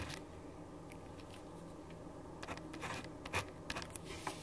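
A black ballpoint pen writes lines of text on a white paper sheet resting on a wooden desk, scratching across the paper. A soft, steady low hum sits underneath, and after a quiet start the short, bright scratching strokes come in irregular bursts toward the end.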